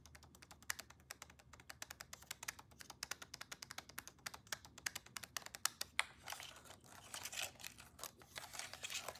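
Long nails tap rapidly on the lens and plastic body of a black Canon DSLR camera, which is held in the hands with its lens cap on. The result is a fast series of sharp, bright, dry clicks that stop instantly with no ring. In the last few seconds the taps blur into a denser, scratchier patter.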